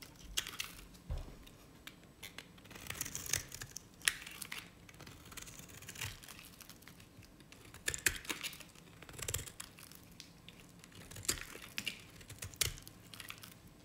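A knife blade scrapes and cuts along the edge of a dry, cream-colored solid bar soap from Nevskaya Cosmetics. Quiet, dry, crisp scraping and crumbly crackling come in short, bright bursts with brief pauses, with faint low thumps underneath.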